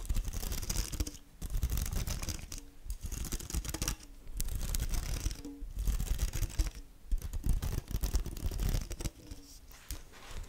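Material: Synthetic string.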